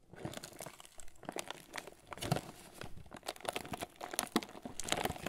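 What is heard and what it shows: A closed, hollow red Ritz cardboard cracker box is held upright in both hands while fingertips rub and scratch across its surface. Dense, crinkly scratching and rustling come in quick, uneven bursts, with bright papery edges over a faint hollow body. The texture stays busy and dry throughout, with only brief dips between strokes.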